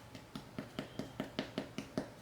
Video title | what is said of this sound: 2 Easy Christmas Breakfast Casserole #christmas #breakfast #casserolerecipe | Oh, the bread is done. It's got a beautiful color. Listen, it's got that hollow sound to it.